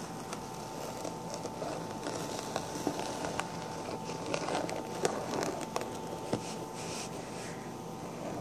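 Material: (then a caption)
Sequins. Long black-painted nails scratch the sequins on the crown of a pink sequin-covered fabric hat with a hollow crown. A steady, soft crackling scratch plays throughout, broken by irregular sharp clicks as the nails catch on the sequins, over a faint steady hum.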